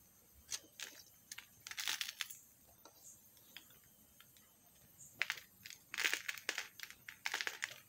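A metal knife blade scrapes and shaves flakes off a solid pink bar of soap held in the hand over paper. Bright, dry scratching bursts come in uneven clusters separated by quiet gaps, with almost no low end and no ringing after each stroke.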